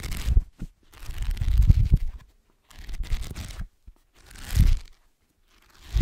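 Fingertips and nails scratch the page block edges and cover of a black paperback book. Bursts of dry, crinkly scratching with soft low thumps come in uneven strokes, separated by brief silences.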